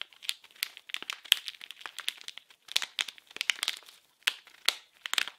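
A small, blue, printed package wrapped in plastic film is squeezed and crinkled with fingers and nails. It gives off bright, sharp crinkling crackles in quick, uneven bursts separated by short pauses, with no low end at all.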